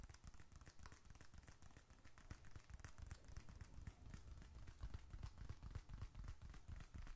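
A small, closed, dark red leather bifold wallet, hollow with bills and receipts inside, is squeezed and scratched with fingertips and fingernails. It gives a quiet, dense, irregular run of crinkly, sticky leather crackles and short soft scratches, about four per second, over a muffled low thumping from the handling. Each sound dies away almost instantly.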